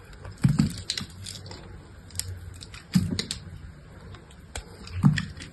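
A utility knife cuts and scrapes thin sheets and flakes from the face of a solid, hand-sized purple bar of dried soap held in the hand. Dry, crackly scraping bursts with a dull, low-heavy crunch come in three louder strokes among smaller, quick flaking ticks, each dying away almost at once.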